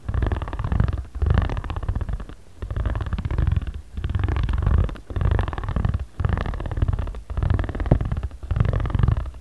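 A ridged jade roller is rolled and rubbed across a flat origami paper pad, moving from the right toward the center. It makes a low, purr-like rumbling texture in repeated strokes separated by brief pauses.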